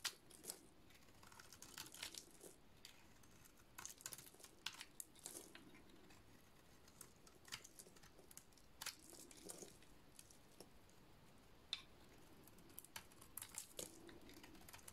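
A solid oval white dry soap bar, partly painted, is shaved with a utility-knife blade. The quiet, bright, crisp scraping comes in irregular bursts of dry, crumbly shaving with brief sharp ticks. Each scrape stops dead without ringing.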